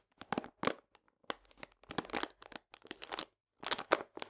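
A full paper cane sugar bag is scratched with fingernails, then laid on its side and squeezed by hand. The result is a series of quiet, dry crinkling and scratching bursts with a papery, bright edge, separated by short silences.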